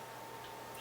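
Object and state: Nothing is struck.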